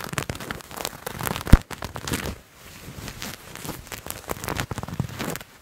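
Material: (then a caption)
Fabric. Fingernails scratch and rub a purple patterned fabric garment held in both hands, making a dense, crackly rustle that is mostly low-pitched with faint bright edges. A sharp, louder snap stands out early on, and the scratching eases briefly before resuming in quieter, steady bursts.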